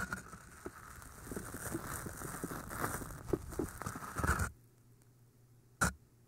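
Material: Floral foam.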